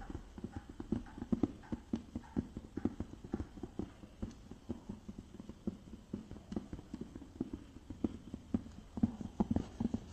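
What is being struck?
Small clear plastic case.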